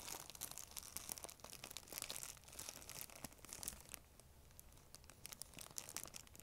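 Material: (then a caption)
Plastic. An empty, thin, clear plastic bag is held in both hands while long nails scratch and crumple it. The result is dense, bright, quiet crinkling and crackling with sharp, quickly fading snaps. There is a softer, calmer stretch partway through before the crackles pick up again.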